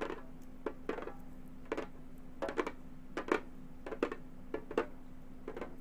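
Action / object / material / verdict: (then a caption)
tap / frame drum with synthetic head / synthetic membrane / none. Long gold metal finger claws tap a round, hollow Remo frame drum with a synthetic head. Short, irregular clicky taps come singly and in quick clusters, each with a brief mid-pitched knock that dies away almost at once. A faint steady low hum runs underneath.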